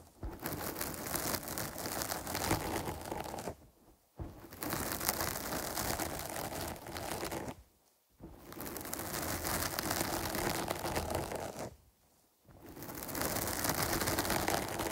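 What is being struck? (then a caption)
Foam microphone windscreen. Long pointed nails on both hands scratch over the top and sides of a medium-sized, dark grey foam windscreen covering a microphone, its soft, porous foam stretched over a solid mic body. The result is a dense, crackling, rustling scratch that spans deep lows to bright highs. It comes in four long stretches separated by three short silent pauses.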